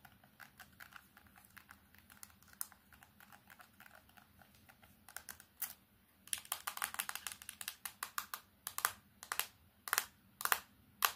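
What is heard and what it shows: A solid plastic Samsung keypad phone is tapped rapidly with long painted nails, first on the front and then on its black plastic back cover. Quick, dry clicky taps start soft and steady, then turn louder and sharper with bright, crisp attacks and a slight hollow plastic knock in the second half.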